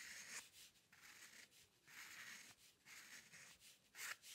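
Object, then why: Steel dip pen nib on paper sheet. A steel-nib dip pen loaded with ink, held in the fingers, scratches fine hair strokes across a flat sheet of white drawing paper resting on a dark table. The result is soft, dry, bright scratching in short bursts separated by brief pauses, with almost no low end.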